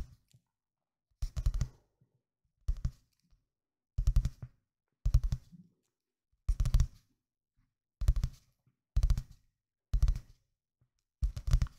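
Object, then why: Paperback book with glossy paper cover. A medium-sized paperback book with a glossy printed paper cover, possibly a manga or comic volume, is held closed in both hands close to the microphone while fingertips with dark-painted nails tap and scratch the cover. Nine short bursts of quick tapping and scratching are heard, each a cluster of dull low thumps with a bright papery crackle on top, separated by near silence.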